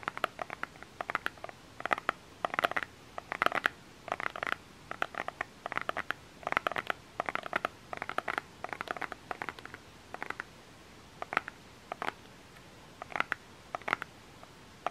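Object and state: Plastic lotion bottle.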